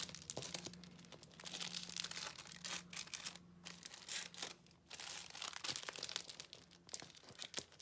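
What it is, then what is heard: Paper sheet crinkled. A thin white paper sheet, rolled into a strip, is pulled between the fingertips of both hands, crinkling and rubbing the paper. Quiet, bright, dense crackling swells and fades in bursts with a short pause near the middle, over a faint steady low hum.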